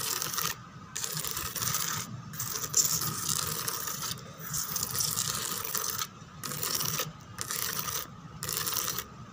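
Long teal nails scratch and tap the textured back of a white molded plastic chair with raised roses and grid holes. Bursts of dry, bright, raspy scratching come in waves, broken by brief quieter pauses, with light ticking taps mixed in.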